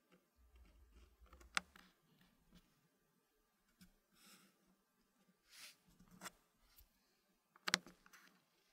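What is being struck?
Wooden puzzle pieces in a wooden tray.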